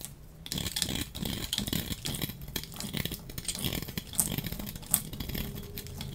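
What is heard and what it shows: A hand-sized solid bar of dry pink soap is held in one hand and shaved with a metal utility-knife blade. A steady run of quick, dry scraping and crackling strokes with bright, crisp edges is heard as the blade drags across the surface. Curls and flakes of soap peel off.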